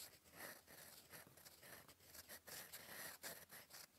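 A gold fountain pen nib writes in black ink on a flat sheet of lined cream paper, scratching across it in cursive strokes. The sound is a quiet, bright, dry scratching that rises and falls with each stroke, broken by brief pauses.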